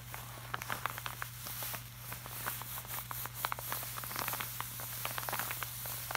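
Fingertips of both hands tap and rub the surface of a flat, glossy laminated art print. Quick, light, bright taps and short crisp clicks scatter over a soft rubbing hiss, with a steady low hum underneath throughout.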